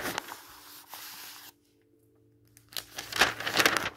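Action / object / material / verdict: scrape / thin paper catalog pages / paper / none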